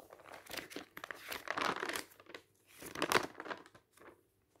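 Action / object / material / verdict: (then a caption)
scrape / glossy paper magazine / coated paper / none. Fingertips grab and quickly turn the thin coated pages of an open glossy paper magazine resting on a stack. Dry, bright crinkling and rustling comes in bursts with almost no low end, swelling loudest mid-turn and then fading to near silence at the end.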